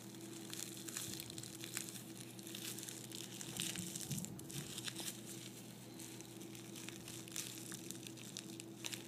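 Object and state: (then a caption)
Tissue paper crinkling. A small folded piece of white tissue paper is folded and crumpled in both hands. It makes a soft, continuous crinkling full of bright, crackly bursts, over a steady low hum.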